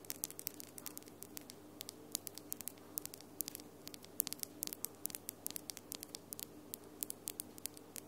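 Long glitter acrylic nails are tapped and clicked against each other, producing quiet, sharp, bright clicks in a rapid, irregular stream. Each click is very short with almost no ring, over a steady faint low hum and hiss.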